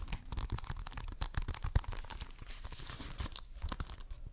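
Fingernails scratch and tap the cover of a hollow plastic Xbox One game case with a green top strip. The result is a dense run of soft crunchy, crinkly scratching mixed with quick dull taps. Most of the energy sits in the low end, with bright scraping hiss over the top.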